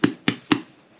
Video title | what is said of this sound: Easy Sada Roti Recipe | You hear that hollow sound? You know it's finished cooking.